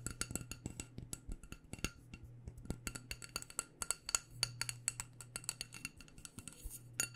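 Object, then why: Wax-filled glass candle jar. Long painted nails tap quickly on a small black glass candle jar filled with wax, striking both the glass and its white label. The taps are crisp, bright clicks with very short ring, over a faint, steady low hum.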